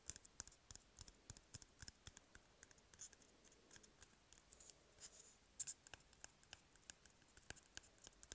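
Fingernails and fingertips scratch and tap on an empty, hollow cardboard toilet paper tube. The result is a quiet, rapid, irregular series of dry, bright clicks and scratchy taps with almost no ring, set against a faint hiss.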